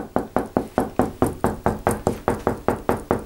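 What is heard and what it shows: A flat white painted plastered interior wall, a large surface that may be hollow behind, is knocked repeatedly with the knuckles of a fist to locate wall studs. Sixteen dull, short knocks come at a steady pace of a little over two per second. Each thud is mid-pitched and dies away almost at once.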